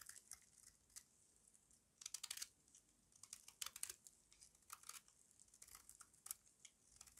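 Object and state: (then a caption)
Dry soap bar, crunchy when carved. A small metal blade with a yellow handle carves flakes off a solid, square, embossed bar of dry white soap held in the palm. Quiet, bright, crisp crunches and scraping crackles come in irregular bursts, with louder clusters around two, four and five seconds.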